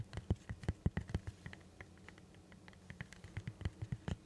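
Fingertips tap and rub the smooth skin of a whole green zucchini, firm and solid, held upright near the microphone. Soft, dull, low thumps come in quick uneven runs, with a quieter stretch of light rubbing in the middle. Each tap dies away almost instantly.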